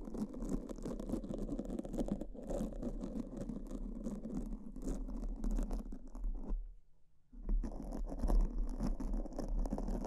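Two soft, porous black foam microphone windscreens are scratched and brushed with pink silicone spoolie brushes held in both hands with long purple nails. A dense, continuous, low, muffled brushing and scratching fills the clip, with a brief near-silent pause around seven seconds before the rapid scratching resumes.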